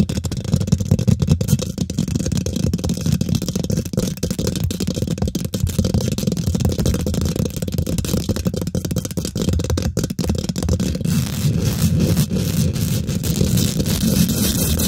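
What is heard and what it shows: Long nails and fingertips of both hands quickly scratch and tap the domed, hollow woven metal mesh grille of a large silver condenser microphone. The result is a dense, continuous stream of rapid scratchy taps and rattles, heavy in low-end thump with a faint bright hiss, holding a steady level throughout.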